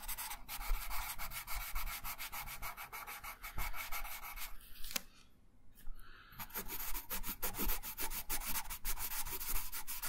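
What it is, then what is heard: Paper coloring sheet being coloured. A wooden colored pencil held in the right hand rubs colour onto a thin printed paper coloring sheet lying flat on a wooden table, in steady strokes. Rapid, rhythmic scratchy rubbing with a bright papery hiss runs throughout, over a soft low rumble. It pauses briefly just after the midpoint before the strokes resume at the same steady pace.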